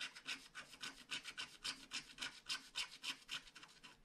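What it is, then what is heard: Scratch-art card being scratched. A wooden stylus scratches the black coating of a flat paper scratch-art card in steady strokes. About 17 quiet, bright, raspy scrapes come in a regular rhythm of roughly three to four per second, each dying away at once with almost no low end.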